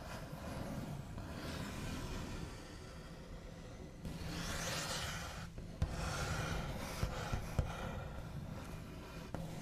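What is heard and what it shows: The backs of long nails scratch and trace across a solid, flat, white-finished wooden tabletop, making a steady dry, raspy rubbing with a bright hiss over a low rumble. The scratching grows louder and brighter midway, and a few short, sharp taps break through near the end.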